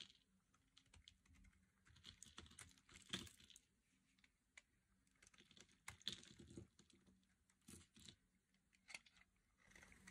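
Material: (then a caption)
Soap. A metal blade carves chunks off the corner of a solid, hand-sized yellow bar of dry soap held by long nails. It makes quiet, crisp, bright cutting clicks and crunches in irregular bursts, each dying out almost instantly, over a faint steady low hum.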